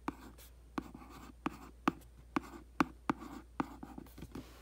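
A makeup brush is scratched and swept across the printed top of a hollow cardboard aquarium box lying flat on carpet. About ten short, dry scratching strokes sound out, each with a low papery thud and a brighter brushy rasp, separated by a soft hiss.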